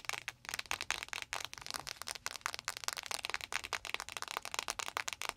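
Long nails tap fast on a clear plastic, gel-filled panda-shaped ice pack standing on a microphone. The result is a rapid, uneven run of crisp, bright plastic clicks with almost no low end, each dying away almost instantly.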